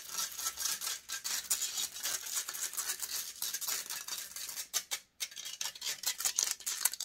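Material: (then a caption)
Metal mesh. Long grey acrylic nails scratch fast and hard across the hollow, rounded metal wire-mesh grille of a silver Blue Yeti-style USB microphone. The result is a dense run of bright, crisp, rasping scrapes with almost no low end, broken by a brief silence just after the five-second mark before the scratching resumes.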